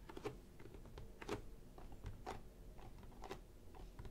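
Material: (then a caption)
Cardboard. Long painted nails and fingertips tap and scratch the top of a closed, apparently hollow printed cardboard toy kit box lying flat on a table. Quiet, irregular hollow taps mix with dry scratchy clicks, with a few louder nail strikes standing out over a low background rumble.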